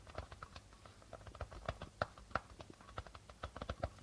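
A medium hollow darbuka hand drum with a reddish body and a white plastic head is lightly tapped and scratched across the membrane by the fingertips and nails of the right hand. The result is a quick, dry run of soft, short taps with little ring, ticking at a mid pitch over a low thump.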